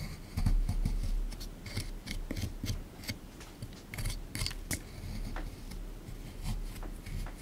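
A small plastic pick digs into a hard, crumbly plaster block sitting in a tray, as in a dinosaur excavation kit. Rapid, uneven scraping and chipping sounds crunch and rasp as bits of plaster break away, with sharp bright clicks over a low, dull rumble.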